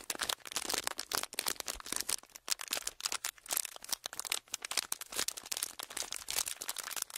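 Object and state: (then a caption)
Clear ridged plastic packaging sheet. A small clear ridged plastic packaging sheet, gripped in both hands, is crinkled by the fingertips and thumbs. It gives a steady run of dense, bright, crackling bursts with almost no low end. Each crackle snaps off instantly, with no ring.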